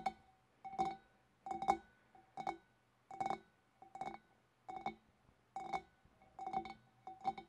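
Long dark fingernails of both hands tap near the rim of a large, empty, clear glass fish bowl, producing bursts of quick, bright clicks. Each burst has a short glassy ring around 790 Hz that dies away almost at once. The clusters come at an uneven pace, with quiet gaps between them.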